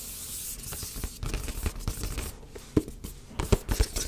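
A medium-size black printed cardboard box for a Yeti microphone, held in the hands, is tapped and scratched with fingertips and nails. Dry, papery scratching and rubbing runs under a series of soft, low, hollow thumps, with a few sharper taps near the end.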